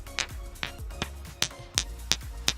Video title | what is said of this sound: Free Live Tarot, Runes & Lenormand Readings - Monday Magik - Lost Opal Tarot™ - 11-17-25 | There's a slight ringing to them.